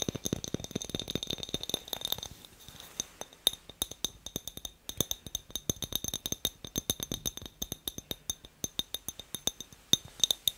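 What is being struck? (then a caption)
Glass light bulb. Light tapping on a glass light bulb produces bright, glassy clinks with a faint high ring near 3.7 kHz. The first two seconds are a rapid, dense flurry of taps; after that the taps come steadily, each one short and crisp, with little low end.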